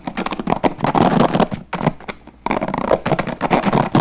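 Fingertips strum and flick the white plastic bristles of a handheld blue translucent plastic paddle hairbrush with a hollow body, fast. The result is a dense run of quick, crackling plastic flicks with a hollow, low-mid body, pausing briefly just past the midpoint before resuming at the same rapid pace.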